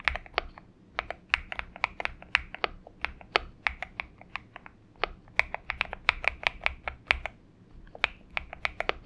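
Fingertips type on a compact 70% Xinmeng M71 mechanical keyboard with an aluminium case and purple gradient PBT plastic keycaps. About 38 crisp, bright key clacks centred near 2.3 kHz sound in quick, uneven bursts, each dying away almost instantly. Near the end the taps thin out as the hands lift away, with a short pause before a final few presses.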